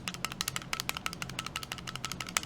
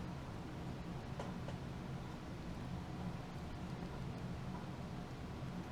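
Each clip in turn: First: compact pistol with loose internal parts. Second: compact pistol, tight with no rattle.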